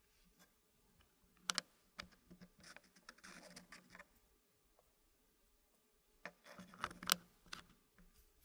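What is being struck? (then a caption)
Wooden puzzle blocks in a wooden tray. Fingertips pick up, slide and click small solid dark-wood blocks against each other and against a green-painted wooden puzzle frame. Quiet, bright, dry wooden clicks and soft scraping come in two clusters separated by a near-silent pause, each click dying away almost instantly.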